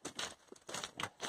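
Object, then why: Loose glassy stone fragments on a trail. Footsteps crunch over glassy stone fragments on a stretch of the Pacific Crest Trail heading toward Kennedy Meadows. Each step gives a bright, brittle crunch and clink, like treading on broken glass or pottery, with quick, dry bursts that die away almost at once.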